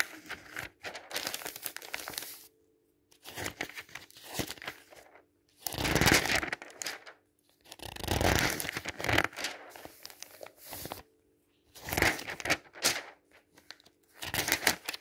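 Fingertips and a flat hand rub and smooth the pages of a thin glossy paper advertising catalog lying open on a table, then flip the pages over. Bursts of bright, crinkling, swishing paper noise alternate with short near-silent pauses, over a faint steady low hum.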